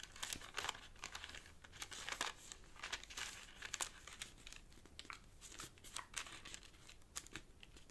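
A thin square sheet of purple origami paper lying on a black cloth table is pressed, folded and rubbed into creases by fingertips. Soft, bright crinkling and crackling come in quick irregular bursts with short, dry paper snaps, and no ringing between them.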